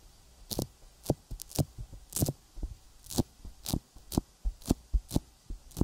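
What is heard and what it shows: An index fingertip taps and rubs a silicone binaural microphone ear coated in sticky petroleum jelly. The result is a run of close, muffled low thumps, each with a short, bright, wet crackle as the finger pulls off the tacky surface. Softer rubbing sounds fill the gaps between taps.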